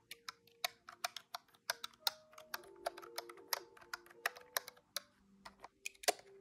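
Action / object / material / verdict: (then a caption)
tap / plastic desktop calculator keys / plastic / none. Fingertips press the plastic keys of a large, hollow, grey-white plastic desktop calculator. Some 22 quick, bright, clacky taps land at an uneven typing pace, each dying away almost instantly. Faint steady tones hum underneath.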